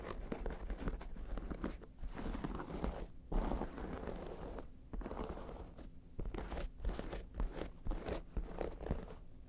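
Long nails scratch across a long, flat, textured wallet made of multicolor embossed leather patches lying on a fur rug. The result is a dense, crunchy, crinkling scratch with a low rumble underneath. It runs in steady bursts broken by brief pauses.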